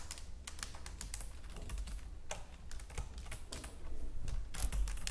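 Long nails on both hands tap and type across the keys of a white plastic computer keyboard. The result is an irregular stream of quick, sharp clicks with bright edges, over a steady low hum.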